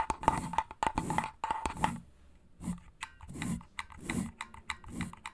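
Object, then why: Plastic vacuum brush attachment. A hollow grey plastic vacuum brush attachment is tapped and scratched with long nails along its plastic shell. Quick, clicky taps with a faint hollow ring come first, then after a brief pause, slower raspy scratching strokes sweep across the surface.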